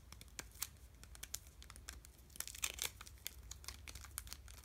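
A full, solid Dove dark chocolate bar in a crinkly plastic/foil wrapper is held in both hands and pressed and tapped with fingertips. Quiet, bright crinkles and short, sharp taps come in an irregular stream, with a few louder crackles midway, over a faint low hum.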